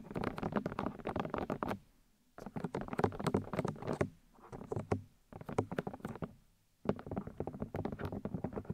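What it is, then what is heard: Fingernails tapping plastic microphone ear housings. Long light-grey nails tap and scratch the white plastic ear housings and outer ear discs of a black 3Dio binaural microphone with silicone ears. Quick, dry, close-up clicks patter in dense bursts separated by short silent pauses. The bursts carry soft scratchy rustling and a low body thump beneath the taps.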